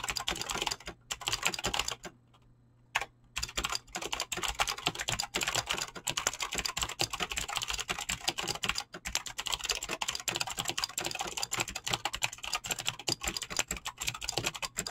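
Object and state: Mechanical keyboard with plastic keycaps.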